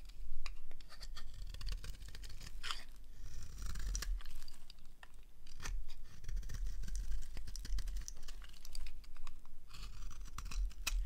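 A small blade shaves thin strips off the edge of a solid green rectangular bar of dry soap held in the hand. The sound is a close, steady run of short, crisp scraping and cutting strokes with bright, sharp edges over a low background hum. The strokes come in quick bursts with brief pauses between them.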